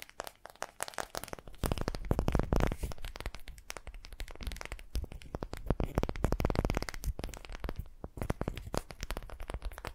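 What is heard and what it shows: A solid, palm-sized, unfinished light wooden ball is held in both hands and scratched all over with long painted fingernails. The result is a dense, rapid run of dry scratching and crackling ticks, heavy in the low end with little brightness. It swells into louder, busier passages around the second and sixth-to-seventh seconds before thinning out again.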